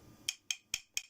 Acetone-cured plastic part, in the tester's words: It's starting to ring a bit now, which is a sound that it's getting really hard.